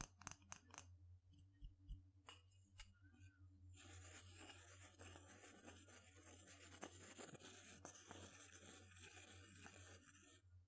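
A wooden pestle knocks sharply a few times inside a small, light wooden mortar held in one hand, with quiet pauses between the taps. It then stirs and grinds around the hollow bowl, making a steady, bright scraping sound over a faint low hum, and ends with one more sharp knock.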